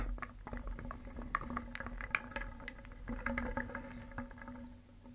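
A wooden spoon stirs small painted solid wooden cones, eggs and discs around a round wooden bowl, so the pieces clack against each other and against the bowl. The result is a continuous clatter of many dry, short-lived wooden clicks rather than single taps, with a faint steady low tone underneath.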